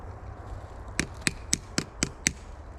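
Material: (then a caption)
Metal, wood. A hammer taps a metal sap spout into a freshly drilled hole in a maple tree trunk with six short, sharp knocks. The strikes stay until the sound turns to a thud, meaning the spout is fully seated and the tree is tapped.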